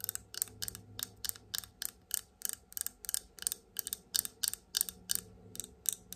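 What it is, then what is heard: Glass cosmetic bottle with plastic cap. Long almond-shaped nails rapidly tap the black and gold plastic cap and glass body of a tall glass bottle of liquid foundation held upright in one hand. A fast, steady run of about two dozen bright, crisp clicks is heard, each very short with almost no ring and little low end.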